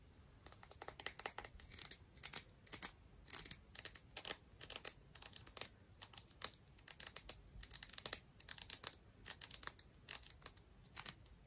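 A tiny clam shell is tapped and scratched in a steady run of quick, dry, bright clicks with scratchy bursts between them. Each tap is sharp and dies away almost instantly, with energy concentrated in the high frequencies. The sound is quiet and continuous across the clip, with no voice.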